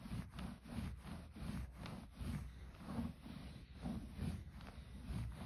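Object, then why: Plush fleece blanket. Fingertips scratch and rub the fuzzy surface of a soft red plush fleece blanket with an embossed scallop pattern, lying flat. The result is a quiet, muffled run of repeated brushing and scratching strokes, mostly low and soft with almost no bright edge.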